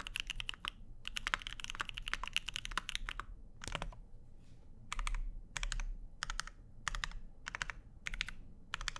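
A Keycult No. 2/65 mechanical keyboard with Lavender switches, plastic keycaps and an aluminum plate is typed on with the fingertips of both hands, and by the end only one hand remains on the keys. The fast, dense runs of sharp, bright clacks with almost no ring break into shorter spaced bursts later, over a steady low hum.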